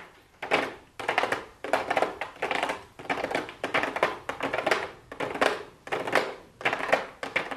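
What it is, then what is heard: Plastic-lidded cardboard palette box. Fingertips with super long blue acrylic nails tap on a pink cardboard makeup palette box with a clear plastic window lid, lying flat on a wooden desk. Quick bursts of crisp, clicky taps repeat about every half second, with a hollow midrange tone and very little ring.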